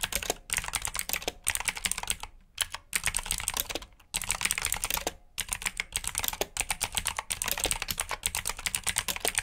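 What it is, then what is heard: Mechanical keyboard with clicky blue switches. Both hands type with their fingertips on a full black plastic mechanical keyboard with blue switches, resting on a brown mat. Rapid bright clicky keystrokes come in bursts broken by short pauses. Each click is crisp and dies away almost instantly.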